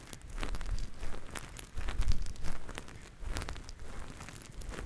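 Two grey faux-fur microphone windscreens, soft covers, are continuously squeezed and rubbed by the fingertips of both hands. The result is a steady, close, muffled rustling and crinkling with deep, boomy low-end thumps that swell and ease in waves, plus faint bright scratchy flecks on top.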